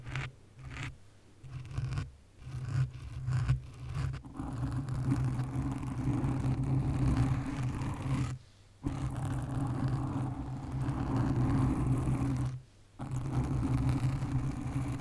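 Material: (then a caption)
Foam. Long nails slowly scratch a black foam windscreen on a condenser microphone. The result is a dense, low rumbling scrape heard in close-up. Short scratching bursts in the first few seconds give way to long continuous stretches, broken by two brief silences.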